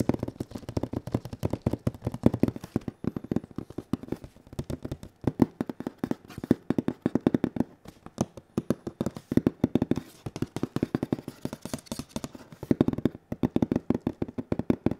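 A large printed PS4 Pro cardboard box, held at an angle, has its face tapped and scratched with bare fingertips and latex-gloved fingers. Rapid, dry, hollow taps with a low-mid body around 250 Hz come in dense bursts with almost no ring, mixed with soft scratching across the surface.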